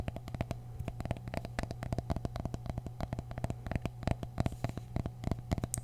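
Mini pumpkins from the grocery store are tapped with the fingers in a quick, steady patter of short, dull, low-pitched knocks that die away almost at once. A faint steady low hum sits underneath the taps.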